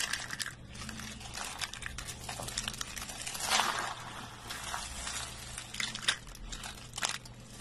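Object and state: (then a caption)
Dry soap flakes being crushed. A pile of brittle, thin, dry green soap flakes is crushed and crumbled in both hands with the fingertips. Dense, bright, crisp crackling and crunching runs throughout over a faint steady low hum, with a louder crunch midway and a few sharp snaps near the end.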